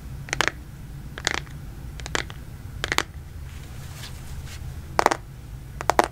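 Fingertips and nails tap and scratch the back and edges of a black smartphone in a plastic case, held by hand in front of the mic. Six clusters of quick, bright clicking taps stand out with short pauses between them, over a steady low rumble.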